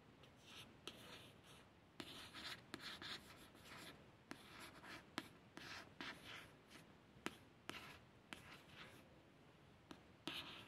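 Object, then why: Glossy card paperback cover. A fingertip with a long nail traces over the letters on the solid, glossy card front cover of a paperback book. Soft, bright scratching and rubbing is broken by short, sharp nail clicks that die away almost instantly.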